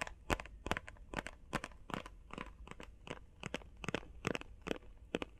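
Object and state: Cardboard box, tapped and scratched.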